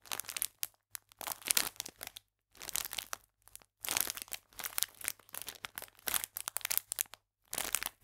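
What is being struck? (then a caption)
Clear plastic film biscuit packet. A full clear plastic film pack of biscuits, held flat, is pressed and crinkled with fingertips and nails. Bursts of bright, crackling crinkles come in short clusters separated by brief silences.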